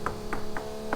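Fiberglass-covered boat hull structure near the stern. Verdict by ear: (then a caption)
Solid. Knuckles rap four times on a fiberglass-covered spot of a boat's hull structure near the stern bulkhead, each a short, dull knock over a steady low hum. The spot sounds solid, with a hard rap that hurts the knuckles.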